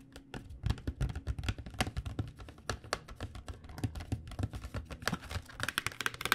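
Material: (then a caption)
Cardboard. Long nails tap rapidly and lightly scratch across the glossy front of a cardboard box of acrylic paint pens. The result is a quick, irregular run of short, dry clicks over a soft low thud, with faint bright scratchy edges and almost no ring. The tapping grows brighter and busier toward the end.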